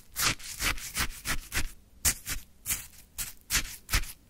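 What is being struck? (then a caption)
Frozen shaved ice in a plastic cup, wooden stick. A wooden stick scrapes and digs into a full plastic cup of orange frozen shaved ice, producing a rapid series of crunchy, gritty scraping strokes. Each stroke has a bright, hissing crystalline texture over a soft low thump, with short pauses in between.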